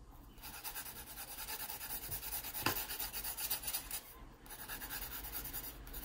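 A yellow wooden graphite pencil draws lines and scratches across the surface of an open paper sketchbook lying flat. The result is a steady, bright, raspy scratching with a rhythmic rubbing texture. There is one sharper stroke near the middle and a brief lull before the scratching resumes.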